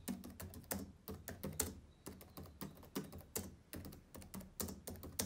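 Fingertips of both hands type and tap on the plastic keys of a black laptop keyboard. A quick, uneven run of short clicks, each with a soft low thump and a bright edge, dies away almost at once.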